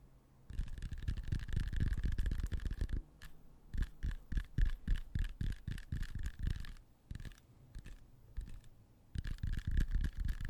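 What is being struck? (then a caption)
Whole apple. Fingertips and short nails tap and scratch the skin of a whole, fresh, solid red apple with a small sticker, about hand-sized, held in front of the microphone. A fast run of dull, low thumping scratches gives way to separate soft taps with short pauses, then dense scratching returns at the end. A faint steady tone near 1.7 kHz sits under the louder passages.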